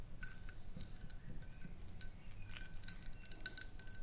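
A small, round, clear glass jar, partly filled with white powder or sand, is held in both hands and tapped with long nails. Quick, irregular clinks ring high and bright, each fading almost at once, over a steady low rumble.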